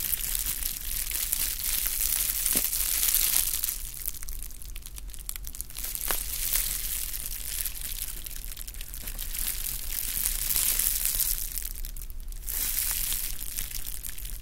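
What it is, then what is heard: Plastic bubble wrap. Rolled clear plastic bubble wrap is twisted and squeezed with fingers, giving a continuous dense crinkling and crunching with bright, hissy texture. Occasional sharper pops cut through, with quieter softer stretches in between.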